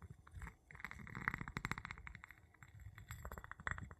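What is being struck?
Small glass jar tapped with a wooden handle.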